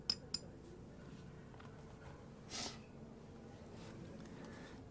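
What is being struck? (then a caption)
Yixing clay teapot lid. The lid of a Yixing clay teapot is tapped twice, giving two short, bright ceramic clinks with very little ring. A soft, breathy burst follows in an otherwise quiet background. The teapot is rated an eight.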